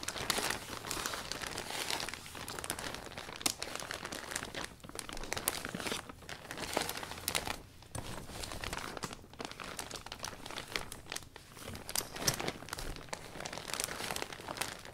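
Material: Vinyl plastic.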